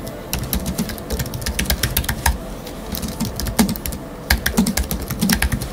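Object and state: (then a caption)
Aluminium and plastic computer keyboard. Fingertips of both hands type rapidly on a space grey Apple Magic Keyboard with numeric keypad, its thin aluminium body and black plastic low-profile keys resting on a wooden desk. Quick bursts of short, crisp key taps with bright clicks over a soft low thump come in clusters, with brief pauses between runs of typing.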